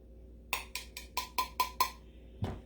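A canning jar lid, dry-canned with a brake bleeder vacuum pump, is tapped eight times, giving short, dull clicks with a faint ring around 1 kHz. The lid has not sealed, which shows in its dull tone and a small bubble under it.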